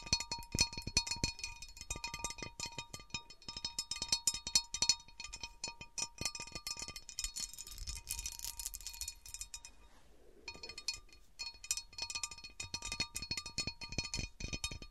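Long nails and fingertips tap and scratch the rim and textured top of an empty, large, round, divided cut glass serving platter. Rapid, bright clicks ring with faint high tones, and a denser scratching stretch builds in the middle. After a brief quiet pause, the quick tapping resumes.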